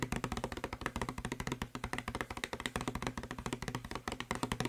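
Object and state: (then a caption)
Plastic spray bottle. A hollow blue plastic spray bottle, held in one hand, is rapidly tapped with the fingertips and nails of the other hand. About 35 quick, dry taps follow one another steadily, each with a short hollow, low-pitched knock that dies away almost at once.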